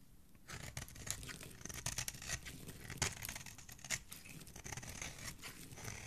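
A solid, palm-sized pink soap bar is held in one hand while a metal blade repeatedly scrapes and shaves crumbly curls off its edge. After a brief quiet start, the cutting makes a steady run of dry, crunchy, tearing scrapes with bright, crackling highs and a soft low rumble underneath.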